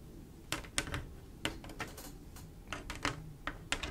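Long black-and-pink acrylic nails tap quickly across a large, solid, flat glass mosaic picture covered in small silver mirror-like tiles laid in swirl patterns with grout lines. The result is a quick, irregular run of sharp, bright clicks that die away almost instantly over a soft low background hum.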